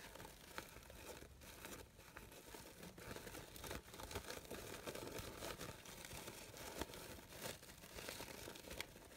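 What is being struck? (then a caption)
Synthetic organza fabric flower. A large light-blue synthetic organza fabric rose with layered petals is rustled and crinkled by fingertips and long pink nails. The result is a steady, crisp crinkling and rustling texture across a wide range, bright on top, with occasional sharper snaps standing out.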